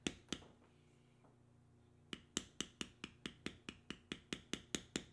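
A metal stamping tool held in the fingers is tapped repeatedly into the carved lines of a tan vegetable-tanned leather strip with punched holes, resting on a stone slab. Two sharp taps come first, then a quiet pause, then a steady run of quick, bright, clicky strikes with a short, dry decay, sixteen hits in all.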